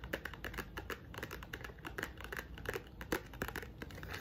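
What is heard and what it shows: A pink painted wooden block box held flat is tapped and scratched quickly with long nails along its top edge and surface. Quiet, rapid clicks and scratchy rubs follow one another without pause, with short dry knocks that die away almost at once.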